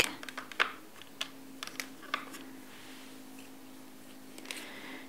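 Knuckles and fingertips tap and knock inside the divider compartments of a large, hollow, empty black plastic utensil drawer organizer tray resting on a marble counter, with loose black divider pieces held nearby. About a dozen short, dry, bright clicks and knocks come at an uneven pace and die away almost instantly, over a faint steady low hum.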